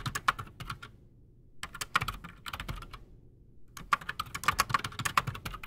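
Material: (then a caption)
Plastic. Both hands type fast with their fingertips on a solid, full-size black Redragon Shrapnel K589 mechanical keyboard with Outemu Silent Sky silent switches and Razer PBT plastic keycaps, resting on a desk. The keys give soft, short, dull clacks with a mid-pitched tap and a little bright click. They come in quick bursts with two brief pauses.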